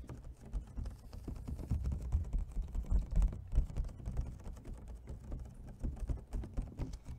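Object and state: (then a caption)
Plastic clamshell food container. Fingernails tap quickly on the lid and sides of an empty, hollow clear plastic clamshell food container held in both hands. The result is a rapid, irregular patter of short, dull clicks with a low, hollow body and almost no ring.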